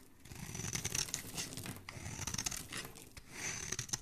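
A flat metal blade scrapes and shaves the face of a hand-held solid oval bar of purple-streaked soap with an embossed logo, peeling off fluffy curls. Three swelling passes of dry, crinkly rasping are heard, bright and hissy with a faint high squeal, over a soft low rumble between strokes.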